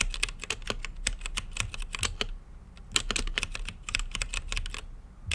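Fingertips type on a mechanical keyboard with plastic keycaps and a translucent lit case, producing a rapid run of short, bright clacks over a soft low thump. The keystrokes come in quick bursts, with a brief lull just before the middle, then pick up again and continue to the end.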